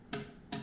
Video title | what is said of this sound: Jedi Council of Florida: Saber Tutorial Part II | you can hear the hollow sound